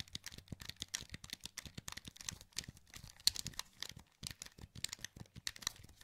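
A wired black plastic PS2 controller with a hollow handheld shell is held in both hands while thumbs press and click its buttons and joysticks. The result is a quick, irregular run of dry, bright plastic clicks and taps with almost no ring, pausing briefly near the four-second mark before resuming.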